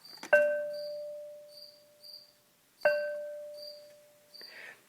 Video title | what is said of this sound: My Edited Video | if it rings it's a good crock pot if it doesn't ring there is a crack in it